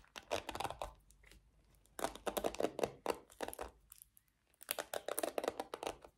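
Long nails scratch and strum the bristles of a small pink plastic paddle hairbrush with a black cushioned bristle pad. The result is three bursts of rapid, dry, crackly strums with a bright, papery edge, separated by near-silent pauses.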